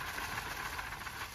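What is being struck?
Nothing is struck.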